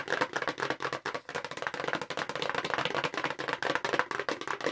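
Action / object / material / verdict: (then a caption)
tap / long narrow paperboard box / paperboard / none. A long, narrow, hollow light-blue paperboard makeup brush box, held in front of the face, is fast-tapped with long acrylic nails. About two dozen quick, dry, papery clicks follow one another with almost no ring and little low end.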